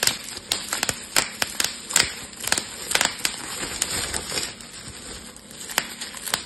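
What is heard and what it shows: Fingertips pinch and pop air-filled bubbles one by one along the edge of a clear plastic bubble wrap sheet. About sixteen sharp, bright snaps ring out, each dying away almost at once, with soft crinkling of the plastic in between.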